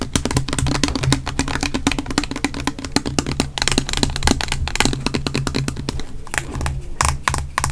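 A small pink body mist bottle with a silver cap, looking plastic and full, is held in both hands and tapped and scratched close up with fingertips and nails. Rapid, dense, dry clicks and taps with bright scratchy edges play over a steady low hum throughout.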